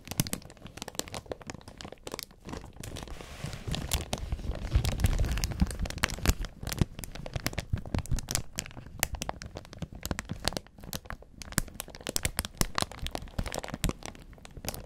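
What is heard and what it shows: Gloved fingertips crumple and rub the loose, thin clear plastic protective film wrapped over a black audio mixer panel. A dense stream of close, dry crinkles and crackles is heard, swelling into a fuller, louder rustle around the middle before settling back into sharp, scattered crackling.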